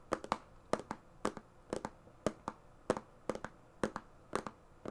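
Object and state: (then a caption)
Fingernail taps on a plastic organizer box. Long painted fingernails tap and scratch across the lid of a large, hollow, mostly empty transparent plastic compartment organizer box lying flat. Quick dry clicks come in pairs and triplets about every half second, with a hollow mid-toned body and bright edges that die away almost instantly.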